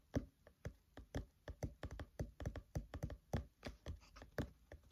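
Fingertips tap quickly on the paper pages of an open paperback book lying flat, producing a rapid, rhythmic series of about two dozen soft, dull thumps. Each tap is short and muffled, weighted in the low end, with almost no ring.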